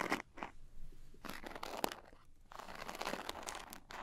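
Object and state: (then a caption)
Glitter-coated cosmetic pouch. A small zippered glitter-coated cosmetic pouch is held on its end while long nails scratch and tap its coarse glitter faces. The result is gritty, crunchy scratching bursts with a bright, crackly edge and sharp little taps, separated by brief quiet gaps.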